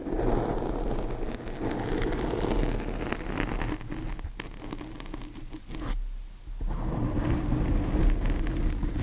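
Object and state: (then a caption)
Foam microphone windscreen being scratched. Long painted fingernails scratch and rake across a large black foam windscreen over a microphone. The result is a dense, continuous low rumbling scrape with a muffled, crackling texture, briefly dropping off around the six-second mark before resuming at full strength.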